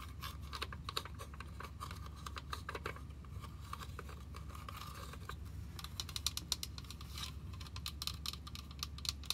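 A hollow white and pink plastic toy wishing well with a purple arch, about 10 cm across, is held in the hands and tapped with fingertips and nails. Quick, irregular, light clicking taps with a bright, dry tone sound over a steady low hum.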